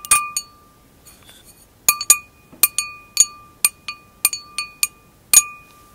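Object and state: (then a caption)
Wine glass. Long acrylic nails tap the hollow bowl of an empty glass wine glass, tilted and held close. It gives a series of bright, crisp clinks, each with a clear ringing tone near 1.2 kHz that fades quickly. The taps come in irregular bursts with short quiet gaps between them.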